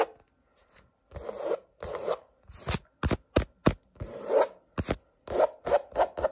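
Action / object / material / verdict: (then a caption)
scrape / stretched painted canvas / canvas / none. A long nail and fingertips scratch and rub across a stretched painted canvas with colored blocks and a coarse woven texture on a hollow-backed frame. The result is a series of dry, raspy strokes, some longer rubbing sweeps and some quick sharp scratches, with a soft hollow body and almost no ring between bursts.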